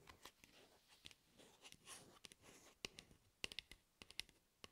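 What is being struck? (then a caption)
Hard plastic cap of a shaving cream can. Long red-painted nails tap and scratch the hollow blue hard plastic cap, held upside down, of a Nivea Men shaving cream can beside wrapped microphone ears. Quick, irregular, bright clicks ring around 2.8 kHz, with soft scratching rustle between them. Each tap dies away almost at once.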